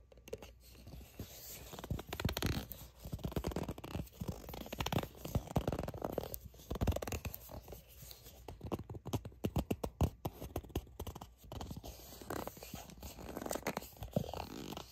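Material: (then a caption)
Soft plastic. A soft plastic sunscreen squeeze tube that appears filled is gripped and scratched with long nails. The result is a quiet, continuous stream of dense, low-heavy scratching with soft crinkles and short sticky grip sounds, rising and falling in bursts.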